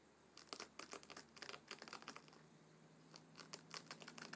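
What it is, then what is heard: Paper page edges of a hardcover book. Fingernails of both hands rapidly scratch and flick the stacked paper page edges of a closed, thick hardcover book with a dark blue cover. Quick, dry, bright bursts of scratching and flicking come in clusters, with a quieter lull in the middle of the clip. A faint, steady low hum sits underneath.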